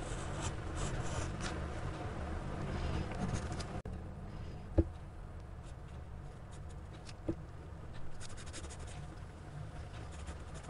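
A gloved hand sketches with a black graphite pencil on a page of a spiral-bound paper sketchbook lying flat, the pencil tip scratching along the paper. There is a steady, dense scratching rustle with a low, muffled body; it is louder for the first four seconds, cuts out for a brief instant, then continues more softly, broken by two sharp little ticks.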